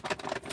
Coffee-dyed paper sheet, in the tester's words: listen to how crispy that is